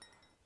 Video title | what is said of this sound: Cups & Mugs ASMR - Tapping - Clinking [Soft-spoken/whispering] | you can tell the difference in terms of its sound when i'm tapping it with my nails